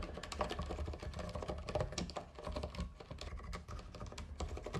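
Both hands type with fingertips on a compact white and green backlit mechanical keyboard with plastic keycaps. The result is a fast, steady stream of overlapping plastic clacks with a deep, thocky low end and brief bright ticks on top.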